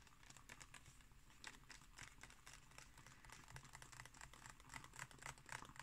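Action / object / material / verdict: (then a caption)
tap / glossy paper book pages / paper / none. Long painted nails on both hands scratch and tap across the thin glossy pages of a large open illustrated book lying flat on a table. The result is a quiet, rapid and irregular patter of short, dry ticks and papery scratches with bright clicky edges, over a faint low hum.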